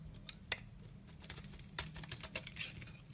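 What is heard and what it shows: A blade with a pink handle carves and scrapes slices off a solid olive-green Dalan soap bar held in the hand. It makes a string of crisp, bright scraping and cutting clicks, with the sharpest ones bunched near the end. They sit over a faint low hiss, and each stops dead with no ring.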